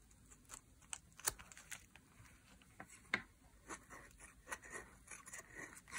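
A metal blade scrapes curls off the edge of a solid, bright green dry soap bar. The sound is a quiet, irregular series of short, crisp, bright scratches and crunches that die away almost instantly, with little low end.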